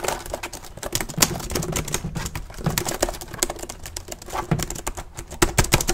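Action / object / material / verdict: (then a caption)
tap / plastic laptop keyboard / plastic / none. Fingertips type fast and hard on the plastic keys of an open black plastic laptop with a hollow keyboard deck. A rapid, uneven stream of sharp, bright clacks rides over hollow low thumps, with each tap dying away almost instantly.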